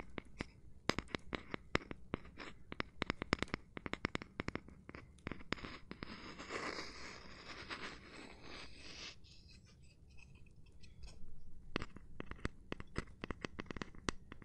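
A cork surface is tapped and rubbed with gloved hands, giving a quick run of sharp, dry taps. Around the middle the taps give way to a steady, brushy scratching sound for a few seconds, then the quick tapping resumes until the end.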